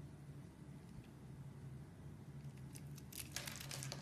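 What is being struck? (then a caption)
Bar of soap cut with a metal blade. A solid brownish-pink star-shaped bar of soap, held in both hands, is carved with a metal blade as chips break off. A quiet low hum runs underneath, and in the second half, bright, dry scraping and crunching bursts cluster together as the blade cuts through the soap.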